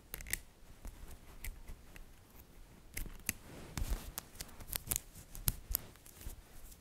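Fingertips with long dark nails pull single small, solid, green-coated magnetic metal balls off a coiled bracelet made of the balls and click them back on. About fifteen sharp, bright clicks and snaps ring out, each ending almost instantly, with soft scraping between them.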